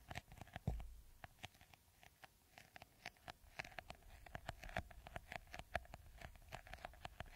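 Fingernails scratch and tap the green beaded top of a clear, hollow, hand-sized plastic bottle. Quiet, quick, dry clicks and scratches patter at an irregular rhythm over a faint steady tone near 700 Hz. A dull, louder thump comes early on.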